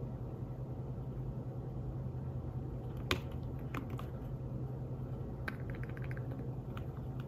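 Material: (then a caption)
Fabric. Fingertips tap on the keys of a thin, flat, grey fabric-covered folio keyboard for a tablet, producing soft, short, muted clicks in a loose, irregular rhythm. The taps sit over a steady low hum, with the sharpest one arriving about three seconds in.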